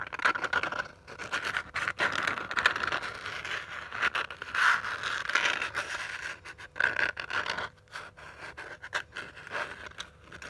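A small purple glitter-covered hardcover notebook is scratched by long dark nails dragging across its rough glitter surface. The result is a continuous dry, gritty scratching with bright rasping texture, broken by brief pauses and short pulses of varying loudness.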